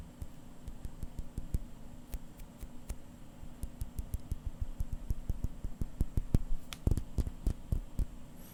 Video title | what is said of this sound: ASMR - Seiko SBDC053 Watch Sounds (Whispers, Tapping, Scratching, and Turning) | I'm surprised it's actually a really dense crystal sound.